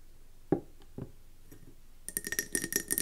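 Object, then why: Glass candle jar with metal lid. Long nails tap and scratch a round, gold-speckled mercury glass candle jar with a metallic gold rim and gold lid, filled with yellow wax and standing on a table. Two separate dull taps come first, then after a short pause a quick run of taps and scratches with bright, glassy ringing clinks.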